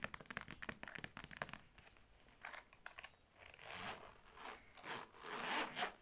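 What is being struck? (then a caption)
Faux leather zip wallet. Long dark red nails scratch and tap the textured front of a small beige faux leather zip-around wallet with a gold logo plate, held in the hands. Quick, crisp taps and clicks come first, then give way to longer, swelling scratching and scraping strokes.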